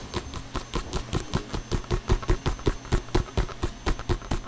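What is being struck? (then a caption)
Inflated synthetic leather soccer ball. A full-size, inflated, hollow Adidas soccer ball with synthetic leather panels is held close and tapped with short painted fingernails and fingertips. About 21 quick, dull, hollow thumps come at an uneven pace, mostly low in pitch. Each dies away almost at once, with faint clicks on top.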